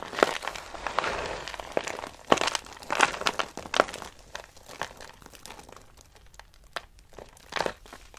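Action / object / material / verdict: scrape / soap flakes in a box / soap / none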